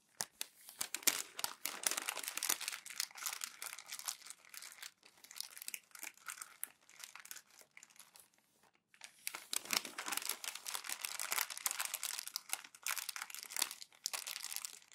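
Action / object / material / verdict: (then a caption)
scrape / glossy paper magazine pages / glossy paper / none. Hands with long nails lift thin glossy pages of an open magazine and crumple them against the open magazine with their fingertips. The result is dense, bright crinkling and crackling with no low end, with a brief near-silent pause around nine seconds before the crumpling resumes.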